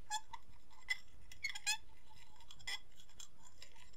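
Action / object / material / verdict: tap / ceramic plate / ceramic / none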